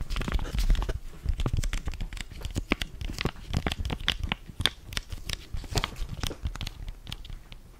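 Fingers crinkle and rub a flat blue foil-laminated sachet holding a sheet face mask, held in both hands. The result is a dense run of sharp, crisp crackles and brief tearing-like crinkles over a soft low rumble, with short bright snaps that die away almost instantly.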